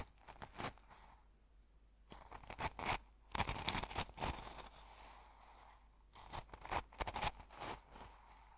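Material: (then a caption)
Salt. A metal fork stirs, digs and scrapes through an open small glass jar full of coarse salt, crunching the crystals. Clusters of sharp, bright crunches and gritty scrapes come in irregular bursts, separated by quieter stretches of faint grainy rustling.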